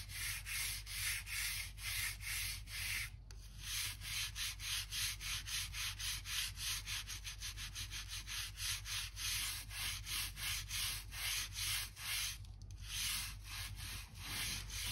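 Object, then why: Wooden floorboards. A blue-handled gap brush is rubbed quickly back and forth along the seams between solid wood floor planks, brushing dirt and dust out of the gaps. It makes a steady run of rapid, bright, scratchy strokes over a constant low hum.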